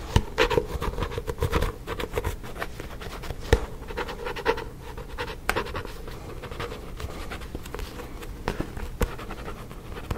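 Fingernails scratch the glossy card front cover of a paperback book held upright beside the mic, making dense, dry rasping strokes. Sharp taps punctuate the scratching over a low, soft rumble. The sound is close and quiet throughout.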